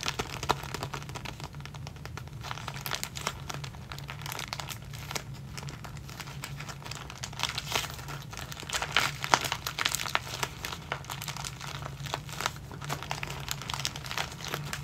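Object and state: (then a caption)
Plastic zip bag of elastic hair ties. A small clear plastic zip-lock bag full of clear elastic hair bands is squeezed and crinkled with the fingertips of both hands. A steady stream of bright, dry crinkles and sharp crackles runs throughout, with a few louder bursts near the start and around the middle, over a faint low hum.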